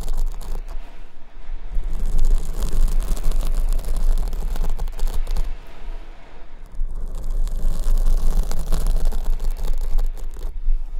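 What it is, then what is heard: Foam microphone windscreen being scratched. Fingernails repeatedly scratch the surface of a large black foam windscreen on the right microphone, held at the top. The result is a dense, continuous scratchy rustle over a heavy low rumble, with a brief lull around the middle before the scratching builds again.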